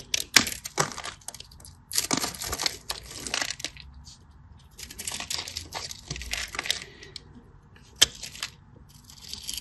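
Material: Soap.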